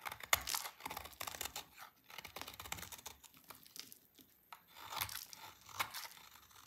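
A small, solid, dry oval soap bar with green stripes is held in hand and shaved with a utility knife blade, leaving crumbly shavings. Quiet, bright, dry scraping and crackling come in a series of short strokes with brief pauses between them.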